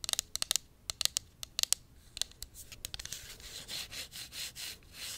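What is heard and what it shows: Long nails tap and scratch the sides of a tall, hollow pink cosmetic pump bottle, likely plastic, held upright. A quick series of crisp, bright clicking taps comes first, then gives way to softer, rhythmic scratching swells. The sound is thin and high, with almost no low end.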